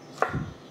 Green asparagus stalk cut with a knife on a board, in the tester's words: vous entendez ça craque légèrement attendait le bruit sur la planche